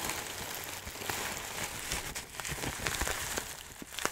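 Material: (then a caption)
Plastic. A clear plastic bag of dry loose herbs, held in both hands, is squeezed and shifted so the contents rustle. The result is a steady, bright crinkling hiss with scattered sharp crackles.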